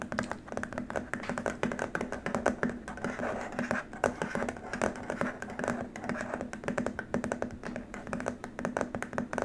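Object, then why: Plastic keyboard wrist rest. Fingertips and short nails from both hands tap and lightly scratch along a long, flat white plastic keyboard wrist rest. The result is a steady stream of quick, dry clicks with soft scratchy rasps between them, centered in the midrange with little bass. Each tap dies away almost instantly.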